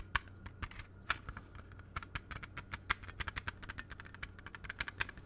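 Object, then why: Plastic CD jewel case. A closed, hollow plastic CD jewel case with a red cover is held in both hands and tapped rapidly with fingertips and nails. About 33 short, dry, bright clicks come in an uneven, quick patter over a faint steady low hum. Each tap stops almost instantly with no ring.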